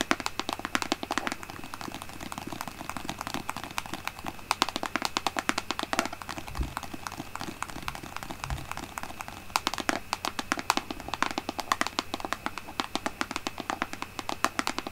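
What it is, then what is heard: Plastic lotion pump bottle. Long painted nails tap rapidly and continuously on the front label of a large white plastic Aveeno lotion bottle with a green pump, held upright in both hands. The taps are short, dry clicks with a bright edge over a faint steady hum, with possibly some quiet speech in the background.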